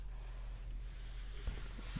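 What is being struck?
Nothing is struck.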